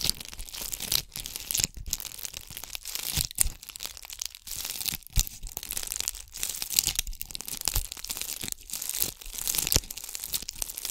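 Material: Glass beads.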